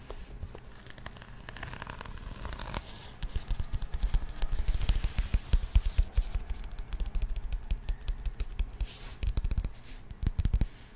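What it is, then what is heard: Paper-covered cardboard box. Long nails rub and scratch across the surface of a flat, patterned, paper-covered cardboard box in a rapid, sanding-like motion. Soft, dry scratching starts quietly, then grows louder and denser after about three seconds into a fast run of close, papery strokes with low, muffled thumps and a faint bright hiss.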